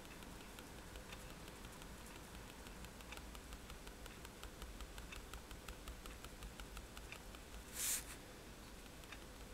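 A fineliner pen tip taps dots onto a flat sheet of white drawing paper resting on a table, making a quiet run of faint, bright ticks over a steady low hum. Near the end, one louder, bright, hissy burst stands out before the soft tapping carries on.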